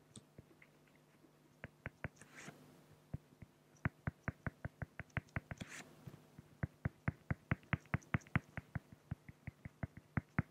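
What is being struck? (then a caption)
Felt-tip pen on a flat acrylic plastic sheet. A felt-tip pen hatches short strokes across a flat clear acrylic plexiglass sheet, giving a steady run of dry, sharp scratchy ticks with a low thudding body. The ticks die instantly with no ring, broken by two soft, longer swishes partway through.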